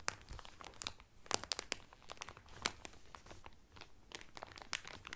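Fingertips press and crinkle the clear cellophane wrapper around the edges of a blue Carnival cotton towel folded flat inside. The clip is a steady run of dry, crackling crinkles with sharp, bright snaps that die away instantly, over a quiet, soft background.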